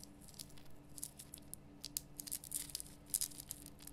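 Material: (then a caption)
Rock salt. Long nails scratch and tap the sides of a large, rough, glowing pink Himalayan rock salt lamp, a solid salt block. The result is quiet, dry, bright clicks and scratchy rasps that die away instantly, with a faint steady low hum underneath.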